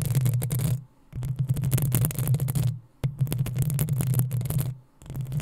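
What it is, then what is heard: Metal mesh microphone grille being scratched. Long acrylic nails on both hands scratch the hollow metal mesh head of a black desktop USB microphone. Dense, fast scratching comes in four stretches separated by brief near-silent gaps, with a bright rasp over a heavy, boomy low hum.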